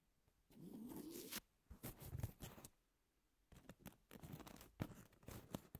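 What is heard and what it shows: Long natural nails scratch and tap along the abrasive surface of a long, thin, flat emery nail file with a pink edge lying on a table. A rising, gritty scrape is followed by short scratches and light taps, then a brief pause before more rasping scratches and crisp taps.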